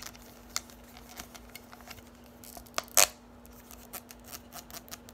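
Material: Plastic.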